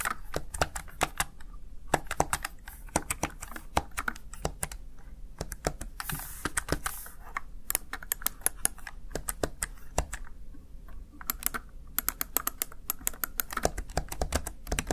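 A small, hollow, backlit plastic gaming keypad (Razer Tartarus Chroma) has its keys pressed rapidly with fingertips and long nails. The result is dense, irregular clicky typing taps with short, dry attacks, and a brief brighter hiss-like wash about midway through.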